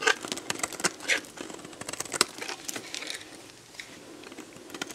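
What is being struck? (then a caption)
Soap bar scraped with a metal blade. A metal box-cutter blade scrapes and cuts shavings from the surface of a solid, dried, hand-sized red soap bar. Dry, crisp scraping and crackling strokes arrive at an irregular pace, bright and thin with almost no low end. They are loudest in the first half and trail off to softer scrapes.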